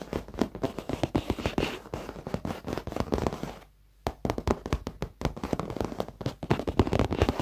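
Fingertips and short nails of both hands rapidly tap and scratch the dark padded leather seat of an office chair, its soft surface over foam. The sound is a dense run of dull, low thumps with light clicks, pausing briefly to near silence in the middle before the tapping resumes.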